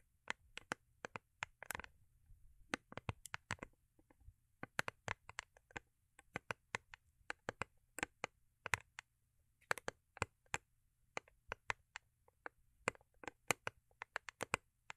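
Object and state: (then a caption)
Cardboard gift box tapped with nails. Long acrylic nails tap and scratch the underside of a small, hollow, rigid cardboard gift box with a holographic foil-paper covering, held in the hands. The result is a quiet, irregular stream of sharp, dry, bright clicks that stop instantly with no ring, broken by a brief scratchy rustle near the start.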